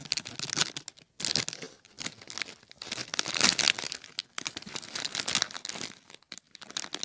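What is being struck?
Plastic bag of popcorn.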